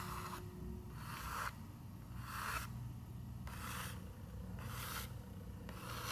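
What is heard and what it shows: Long nails scratch across the paper page of a large open picture book with a Christmas tree illustration. Repeated bright, raspy scraping strokes alternate with short quiet gaps over a soft low background hum.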